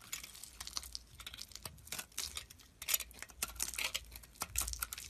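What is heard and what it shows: A metal blade shaves pieces off the remaining solid chunk of a red and white soap bar held in the fingers. Quiet, dry scraping and crumbly crackles come in a rapid, uneven run of short bursts, bright and hissy with almost no low end.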